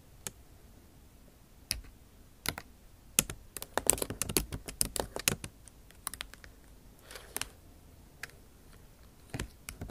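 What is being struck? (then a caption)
Plastic laptop keyboard keys. Long acrylic nail tips type on the bare plastic keys of a backlit MacBook Pro keyboard set in an aluminum body. Sharp, bright clicks and taps come in irregular bursts, densest in the middle, with very short decay over a quiet background.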